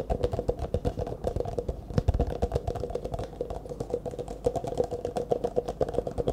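An empty, hollow disposable clear plastic cup is held in both hands and tapped quickly with fingertips and nails. The rapid, uneven taps give a steady stream of short hollow knocks, each with a faint resonant ring near 500 Hz over low thumps. Almost nothing comes through in the high range.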